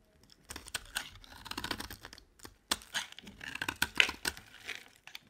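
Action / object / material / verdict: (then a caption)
scrape / soap bar / soap / none. A solid rectangular white bar of dry soap held in the hand is carved and scraped into chips with a utility knife blade. Dry, bright scraping and crisp cracking cuts come in quick bursts with short pauses between them. Some sharp snaps stand out as chips break away.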